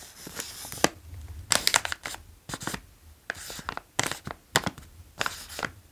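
Fingertips tap and trace the front of a medium-size green OLW Dill & Gräslök potato chip bag, made of foil-lined plastic and full of chips, while hands squeeze it. The bag gives off bursts of sharp, bright crinkling and crackling with short quiet gaps between them.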